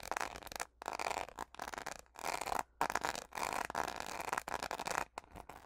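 The back of a purple, rhinestone-studded plastic hairbrush, held in both hands, is scratched and tapped with long fingernails. Bursts of dense, crackly scratching centred in the mids are broken by brief silent pauses, with little low end.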